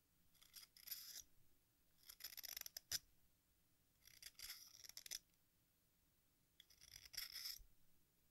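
An exacto knife blade scrapes and shaves the red face of a small, solid piece of sidewalk chalk shaped like a watermelon slice with a green rind, held over a pink bowl as red chalk dust falls in. Four quiet bursts of bright, hissy scraping are heard, each with crisp ticks and almost no low end, separated by near silence.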